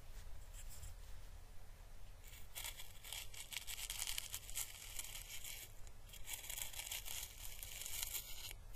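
A small, pale green, dried, papery and hollow Chinese lantern husk is held in the fingers and slowly brushed with a fine paintbrush. Soft, bright crackling and papery rustling come in dense waves over a steady low hum, quiet at first and fuller through the middle and end.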